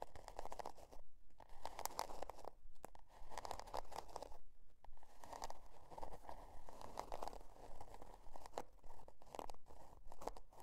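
Long dark nails scratch the scale-pattern cardboard cover of a spiral-bound notebook, which is tilted toward the end. Quiet, dry, crunchy scratching strokes repeat in a steady rhythm of short bursts with brief pauses between them. The tone is a papery rasp centered in the mids.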